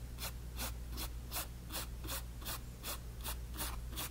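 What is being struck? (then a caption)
Flat paint brush on canvas panel. A flat paint brush held in the fingers strokes back and forth across a small white canvas panel on a table, spreading wet orange paint. Each stroke makes a soft, bright brushing swish in a steady rhythm over a constant low hum.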